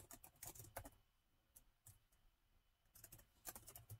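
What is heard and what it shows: Fingertips of both hands type rapid taps on the black plastic keys of a gold laptop keyboard. Quick, bright clicks with a soft low thud come in a burst at the start, thin to a few scattered taps in a quieter middle stretch, then pick up again toward the end. Each tap dies away almost at once.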